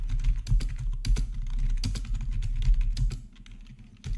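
Both hands type with their fingertips on a plastic RGB membrane keyboard with black plastic backlit keycaps, resting on a marble surface. A quick, uneven stream of soft clicks and muffled clacks carries a low, thumpy body. The typing eases off and grows quieter near the end before one last burst of keystrokes.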